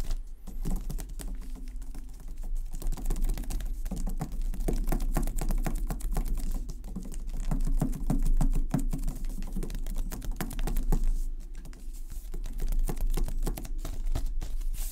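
Fingertips tap quickly on the black, fabric-textured plastic protective wrap covering the sides of a tall Xbox Series X console standing upright on a wooden table. The result is a dense, irregular patter of soft, dull taps with low, muffled body and almost no ring.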